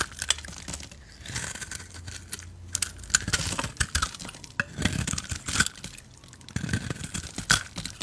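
A utility knife blade shaves the grey glitter coating off a solid, rectangular red soap bar held in the hands. It makes a run of dry, crunchy scraping strokes with crackly, bright detail and brief, clicky edges between quieter pauses.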